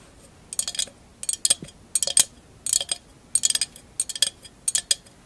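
A hollow glass candle holder covered in small mirror mosaic tiles is held upright and tapped and scratched with long acrylic nails. The result is bursts of bright, high, glassy clicks and clinks with very short ring, separated by brief quiet gaps.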